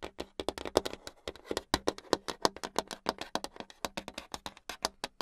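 Long acrylic nails tap rapidly on a flat, solid brown hardboard clipboard, close up. About 36 quick, dry clicks come in an uneven, fast patter, each with a bright top, a mid-range body and almost no low end. Every tap dies away instantly with no ring.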